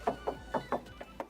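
Six knocks on the steel side body panel of a used Suzuki Ignis give short, ringing metallic taps pitched around 700 Hz that fade in well under a tenth of a second. The knock test shows the panel is original metal with no filler repair.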